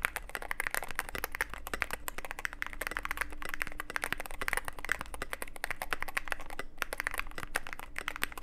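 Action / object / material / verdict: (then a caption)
tap / mechanical keyboard with plastic keycaps and aluminium case / plastic / none. Fingertip typing on a Cyberboard mechanical keyboard with plastic keycaps and a black aluminum case. A rapid, steady stream of short, crisp clicks and clacks with a bright edge, over a faint low hum.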